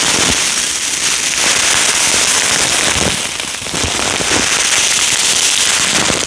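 A small clear plastic bag with a cardboard header label, full of small yellow polystyrene foam beads, is held in both hands and shaken close up. The beads rattle against each other and the bag in a dense, steady, bright crackling hiss that dips briefly about halfway through before picking back up.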